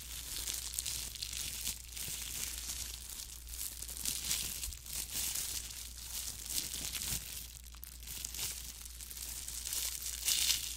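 A thin, clear plastic disposable glove worn on the hand is crinkled, rubbed and scrunched by the gloved fingers close to the microphone. The light, hollow, loose film makes a continuous, bright, crackly crinkling rustle with small sharp pops throughout. A steady low hum sits underneath.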